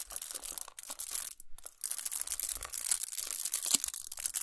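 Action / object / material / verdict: scrape / chocolate bar wrapped in aluminium foil / aluminium foil / none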